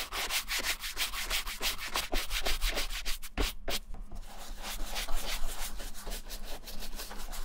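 A small wooden-handled bristle brush scrubs white cream into the smooth, dark leather toe and heel of an empty vintage Levi's ankle boot. It makes a rapid series of brisk, scratchy rubbing strokes with bright bristle hiss over a low rumble. There is a brief pause partway through before the scrubbing resumes.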